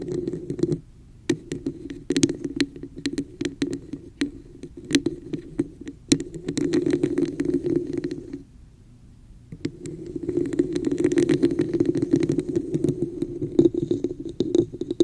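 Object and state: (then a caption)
Plastic cup. Long nails scratch and tap the embossed surface of a hollow red textured plastic cup held over a microphone. Rapid clicks and raspy scraping ride on a hollow, boomy hum centered near 336 Hz, with bright ticks on top. Brief quiet pauses fall near 1 second and around 9 seconds before the scratching resumes.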